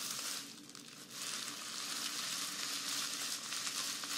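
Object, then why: Dried grass or raffia strands of a grass skirt. Long nails and fingertips scratch and rub through a large bundle of long, thin green strands of dried grass or raffia from a grass skirt held up close. A dense, bright, crackling rustle runs nearly continuously, dipping briefly near the start before swelling back to a steady, sizzling texture.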